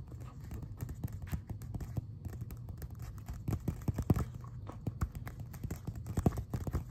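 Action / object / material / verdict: tap / thin glossy paper brochure / paper / none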